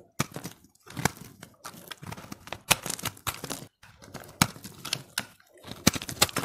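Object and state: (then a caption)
Dry soap ball scraped with a blade. A utility-knife blade scrapes flakes from a solid, hand-held, pressed, multicolored dry recycled soap ball that has been partly carved down. The result is a series of short, crisp, bright scraping strokes with a dry, crinkly texture, separated by brief pauses.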